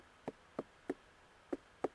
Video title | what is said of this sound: How to Harvest, Cure and Store your Pumpkins, Tips and Tricks, Simple Easy way | thump and listen for a hollow sound